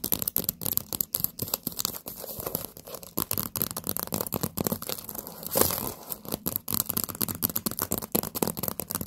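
Long painted nails tap and scratch an upside-down stack of hollow, empty orange paper party cups still in their plastic wrap with a label. The result is a rapid, dense run of dry, crinkly clicks and scratchy rasps with bright plastic hiss over soft hollow low thumps, each tap dying away quickly.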